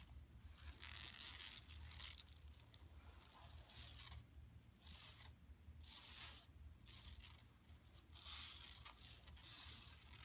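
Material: Woven plastic.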